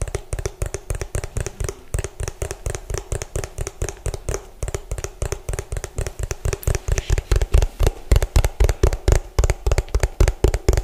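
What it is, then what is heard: Plastic food container. Fingertips and nails tap fast on the ridged bottom of an orange, hollow plastic food container. Dozens of short, dry, hollow knocks come in a quick, uneven rhythm with a deep low thump and almost no ring. The taps grow louder and more forceful in the second half.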